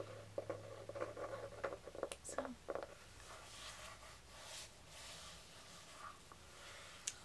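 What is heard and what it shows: Fingertips and nails tap and rub the soft velvet or suede covering of a solid, medium red hardcover diary. A quick, uneven run of light, muted taps gives way to a soft, steady rubbing across the cover, with one more faint tap near the end.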